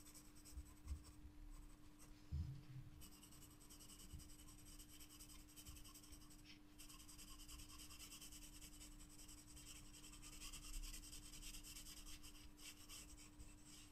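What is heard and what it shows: A wooden graphite pencil shades a paper sketchbook page with dense, rapid strokes, making a steady, repeated scratching. The soft, dry rasp is bright and hissy, with a few louder low thumps early on and a constant faint low hum underneath.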